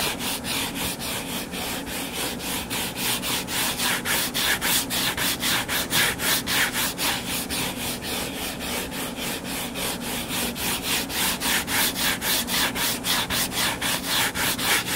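Fingertips and nails scratch the cover of a closed, solid hardcover book lying flat on a table. The sound is a steady, rhythmic series of bright, rasping strokes, about two per second, with a faint low hum underneath.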